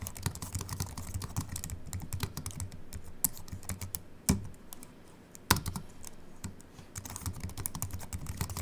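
A compact Apple keyboard with a silver aluminium body and white plastic keys, resting on a wooden desk, is typed on with the fingertips of both hands. Quick, irregular key clicks with a soft low thump run throughout. Two louder, sharper clacks stand out in the middle, with a brief lull between them.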